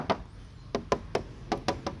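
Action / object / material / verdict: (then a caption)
knock / steel car body panel / steel / no filler. Knuckles knock eight times on a steel car body panel, making short, dry, thin taps with almost no ring. The thin sound shows the panel has no body filler.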